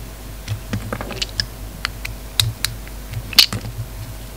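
A hand-sized solid pink bar of soap with a red outer coating, held in one hand, is shaved with a snap-off utility knife blade, and the flakes fall onto a wooden table. Short, crisp scraping clicks repeat irregularly, bright and high with little low end, and each dies away almost at once.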